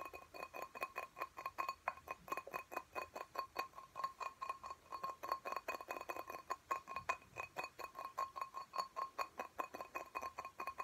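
Fingernails tap quickly on the sides of a small clear glass pot filled with soil and a cactus, held in both hands. A fast, steady run of light, dry clinks, each with a brief ring near 1 kHz and a faint bright edge, continues without pause.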